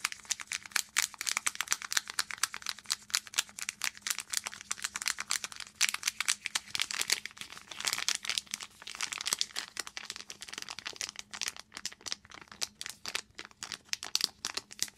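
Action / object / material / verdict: scrape / foil and plastic zip pouch / foil plastic / none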